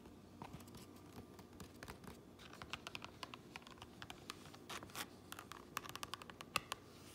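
Fingernails scratch and tap on the grey lining with printed seam tape inside a black fabric cap. A quiet, irregular run of dry, crisp ticks and short scratchy rasps plays over a faint low hum, each sound stopping instantly with no ring.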